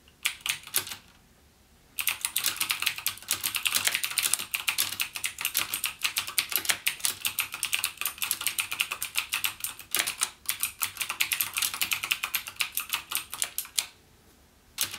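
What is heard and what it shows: A full-size backlit plastic mechanical keyboard with Cherry MX Blue switches, resting on a desk, is typed on with the fingertips of one hand. Rapid, bright, clicky key taps run in a dense stream, with short pauses near the start and end.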